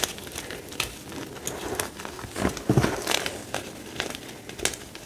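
A dry heap of crumbled pale green-white gym chalk chunks is pressed and rubbed with flat fingers, then pinched and crushed between fingertips. Irregular, crisp crunches and crackles come in quick uneven bursts with bright, gritty edges, and a louder cluster of crushing lands about halfway through.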